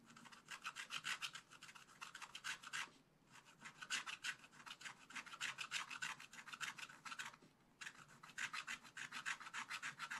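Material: Coated paper.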